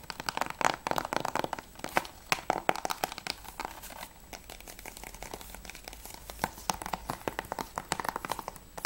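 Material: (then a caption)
Plastic. Long nails tap rapidly on the edge and front cover of a closed, hollow grey plastic PS3 game case for Assassin's Creed II. The result is a dense run of sharp, dry clicks and crinkly taps with a hollow midrange tone around 750 Hz and bright highs. Each tap dies away almost instantly.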